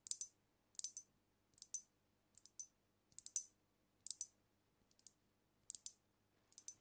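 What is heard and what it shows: Long acrylic nails tap and click along the body and neck of a glass cognac bottle with a paper label and a black capsule on the neck, filled with amber liquid and held tilted in front of the mic. Quiet, bright, sharp clicks come in short clusters of two or three at uneven intervals, each dying away almost instantly, with near silence between clusters.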